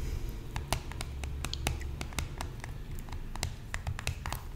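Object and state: Cardboard product box tapped with nails.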